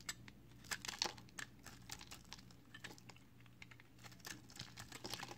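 A strip of solid green recycled soap bar is held in the fingers while its edge is shaved with a box cutter blade, sending flakes falling. Quick, dry, bright scraping crackles and clicks come in irregular bursts over a faint steady low hum, each one cutting off almost instantly.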